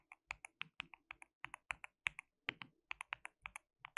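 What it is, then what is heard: Plastic mechanical keyboard. Fingertips of both hands type on a white plastic mechanical keyboard with translucent keycaps, producing about two dozen quick, separate clicky keystrokes over four seconds. Each keystroke is a short, bright plastic clack centered around 2.2 kHz that dies away almost instantly, with very little low end.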